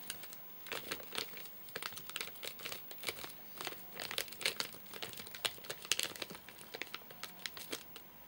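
Fingertips and short nails tap and scratch the top of a full, flat rectangular Soft Nougat bar in a crinkly plastic wrapper with crimped ends. The result is a dense run of quick, crisp crinkles and taps, bright and high with almost no low end, each dying away almost instantly.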